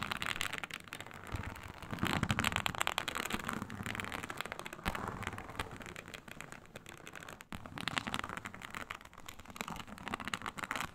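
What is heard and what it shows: Long nails scratch the textured surface of a flat, iridescent, snake-scale synthetic leather mat (a snakeskin-textured faux leather sheet). The result is a dense, crackly scraping with bright rasping texture. It swells loudest around two to three seconds, briefly drops out near seven and a half seconds, then resumes.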